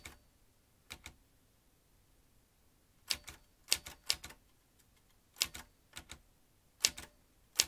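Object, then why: Metal manual typewriter. Fingertips type on the round keys of a vintage metal manual typewriter with paper in the carriage. Sharp, bright clacks land in irregular clusters with quiet pauses between them. Each strike dies away almost instantly.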